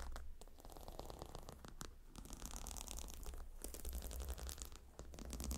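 Long nails scratch across the hexagonal stone tiles and leather rim of a gemstone hot stone pillow, producing a steady run of quiet, dry scraping and crackling strokes. Under the scratching sits a low hum, and the strokes brighten into high hissy scrapes toward the end.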